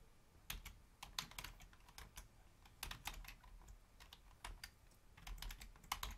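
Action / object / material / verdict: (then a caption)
tap / plastic membrane keyboard / plastic / none. Long fingernails and fingertips of both hands type rapidly on a full-size black plastic Logitech membrane keyboard with a hollow housing. Irregular bursts of short, sharp, bright taps and clicks come in quick clusters, each dying away almost instantly, over a quiet low background.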